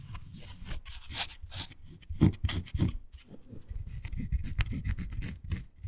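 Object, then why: Miniature faux suede toy sofa. Long nails scratch and rub across the fabric-covered back and arms of a small, miniature beige faux suede toy couch. The result is soft, dry, low scraping and brushing strokes, with brief bright scratchy edges.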